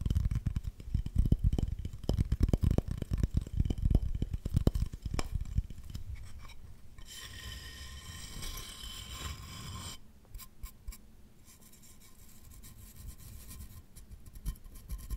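Fingernails scratch and rub the glazed surface of a small, solid, green-glazed ceramic plate with an owl drawing on it. For the first five seconds there is a fast run of loud, dry scratching strokes. These give way to softer rubbing and a steady bright squeal from about seven to ten seconds, then faint, high rubbing to the end.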